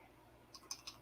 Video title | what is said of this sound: 3 strikes your out? or Third times a charm? | you just shake it and if it rattles the pistons working